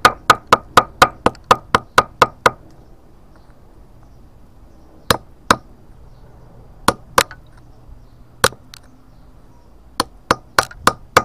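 A small pointed steel chisel, held to a fist-sized solid grey limestone block containing a fossil, is struck with a hammer while the block rests on paving and is held by one hand, knocking chips off the stone. There are 22 sharp, short metallic clinks with a ringing tone near 1.2 kHz: a rapid run of eleven in the first 2.5 seconds, then eleven more in spaced-out pairs and clusters over quiet low background noise.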